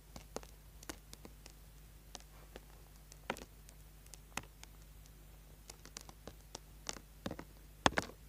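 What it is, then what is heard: Bar of soap being scraped. A small, solid orange bar of soap held in the hand is scraped with a small metal tool, leaving shavings on the board. About twenty short, crisp scratches sound at irregular intervals, each dying away almost instantly, over a faint steady low hum. The last scrape, near the end, is the loudest.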